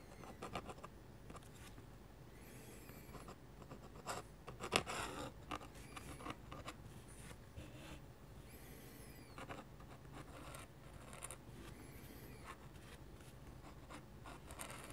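A metal-nib dip pen scratches architectural lines across a sheet of flat white drawing paper. Quiet, dry, bright scratching strokes start and stop in bursts, with short gliding swishes in between. Each stroke dies away almost at once, and a faint low hum sits underneath throughout.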